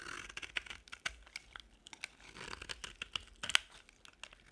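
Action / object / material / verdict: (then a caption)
scrape / bar soap / soap / none. A box-cutter blade scrapes and chips a small remaining solid beige piece of dry bar soap. Quiet, bright, crisp scraping mixes with many sharp crackly snaps as flakes break off, each one dry and short with almost no ring or low end.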